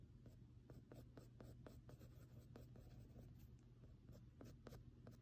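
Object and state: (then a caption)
Pencil marking textured drawing paper. A mechanical pencil held in the fingers stipples and scratches short marks on flat textured drawing paper covered in graphite shading. Quick, dry tapping and scratching strokes come in an uneven rhythm, with faint bright edges, over a steady low hum.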